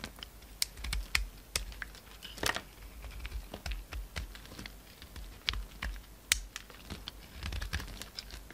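A utility knife blade chops and shaves a solid pink bar of soap into flakes, making a quick, irregular run of crisp, dry clicks and scraping ticks with bright edges. The clicks die away almost instantly over a soft low rumble.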